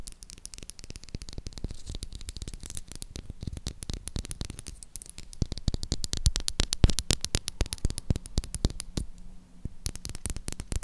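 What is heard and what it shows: Long acrylic nails tap and scratch the top and edges of a solid light-blue Dettol soap bar held in the hand. The result is a rapid, uneven stream of short, dry clicks mixed with scratchy rasps over a low, steady hum. The tapping grows busier and louder midway before thinning out near the end.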